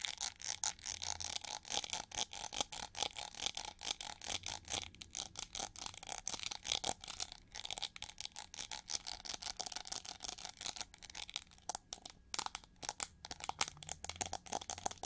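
Long nails scratch along the ridged feather grooves on the hollow back of a winged, gold chrome-plated plastic hair brush held sideways. Dozens of quick, dry, bright scratching strokes follow in a steady rapid rhythm, with almost no low end and no ring after each stroke.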